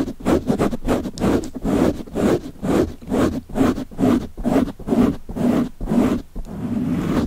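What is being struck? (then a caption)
Foam microphone windscreen. A black foam windscreen, soft and porous and fitted over a microphone capsule, is held in one hand and scratched and rubbed with fingertips and short nails. About 13 muffled, rustling scratch strokes come at roughly two per second in a loose rhythm. They sit mostly in the low-mids around 200–300 Hz, with little high content and almost no ring after each stroke.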